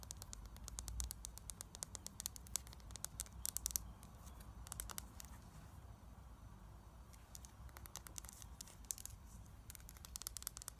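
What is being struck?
Small frosted glass bottle, partly filled.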